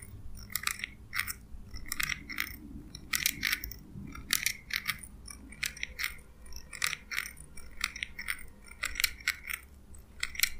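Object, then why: Small steel scissors. Small steel scissors with a purple handle, held by the fingers, are snipped again and again, their blades sliding and clinking metal on metal. Each snip is a short, bright metallic chink centered around 2.3 kHz with high sparkle and almost no ring. The snips come in quick clusters over a faint low rumble.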